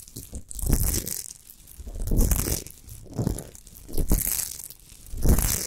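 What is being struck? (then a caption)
Rough rock salt block. Long nails scratch quickly across a large, rough, natural chunk of solid Himalayan rock salt lying on a fur rug. Repeated bursts of gritty, crinkly scraping swell and fade, with a bright hiss on top and soft low thumps beneath.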